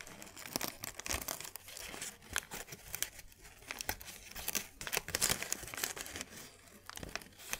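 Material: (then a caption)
Paper. A thin white paper sheet is twisted and crinkled between both hands, making a steady run of bright, crisp crackles and sharp snaps. The sound is mostly high and dry, with each crackle cutting off quickly.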